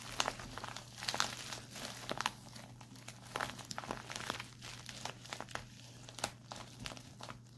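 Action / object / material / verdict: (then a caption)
tap / plastic instant cold pack / plastic / none. Fingertips and short nails tap and scratch the crinkly surface of a white printed plastic instant cold pack lying flat. The result is a steady stream of bright crinkling and crackling with sharp little ticks from the nails over a faint low hum.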